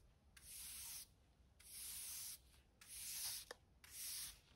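A short-handled hand brush with stiff natural-colored bristles, held in one hand, sweeps a large, smooth, bare concrete garage floor that is solid and mostly clean with light dust. Four quick back-and-forth strokes make bright, airy scratching hisses that are almost entirely high in pitch, with brief quiet gaps between them.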